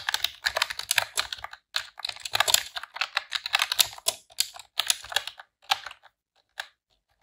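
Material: Plastic.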